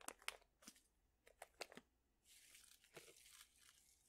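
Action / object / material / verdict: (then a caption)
shake / plastic pouch of dried chili peppers / plastic / none. A plastic pouch full of dried chili peppers is flexed, folded and crinkled with fingertips. Quiet, sharp, bright crackles and snaps come first in irregular bursts, then give way to a steadier, hissy crinkling rustle.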